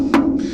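A single hammer tap on another section of a fiberglass trunk wall panel, built for a subwoofer enclosure holding two NSV4 18s and two SCV 7500Ds, gives a short wooden knock. A steady tone near 277 Hz rings for about a quarter second. The section sounds quite solid.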